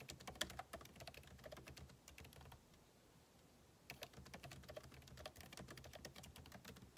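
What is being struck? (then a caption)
Laptop keyboard, plastic keys in aluminium body. Fingertips type rapidly on the plastic keycaps of a backlit MacBook Pro keyboard set in an aluminum body. Dense, irregular bursts of short, bright clicks and taps fill the clip, with a quiet pause of about a second and a half in the middle before the rapid typing resumes.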